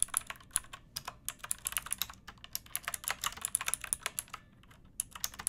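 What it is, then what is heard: Mechanical keyboard being typed on. Long nails and fingertips type on a backlit pink mechanical keyboard with round plastic keycaps and a hollow plastic case. It makes a fast run of bright, sharp plastic clicks that die away almost instantly, with little low-end weight. There is a brief pause before the typing resumes near the end.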